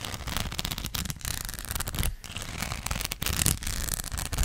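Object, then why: Rhinestone sticker sheet. Long black acrylic nails scratch over the studs of a flat, thin gold rhinestone sticker sheet. The sound is a dense, crackly, bright scratching with a low rumble underneath, broken by a few brief pauses, and it dies away instantly each time the nails stop.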